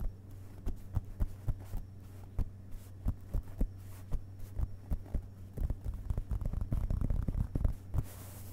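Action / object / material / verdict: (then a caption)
tap / hardcover book, paper page block / paper / none. Fingerpads of both hands tap the printed paper pages of an open hardcover book's solid page block as it lies on a carpet. Soft, dull, low thumps come at an uneven pace over a steady low hum, then bunch into quicker, denser flurries in the second half.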